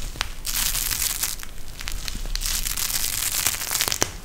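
A pink gel bead eye mask, a clear plastic shell filled with gel beads and edged with fabric trim, is bent and squeezed in both hands. It gives a steady, bright crinkling and crushing rustle with many sharp little crackles and snaps. A low rumble sits underneath.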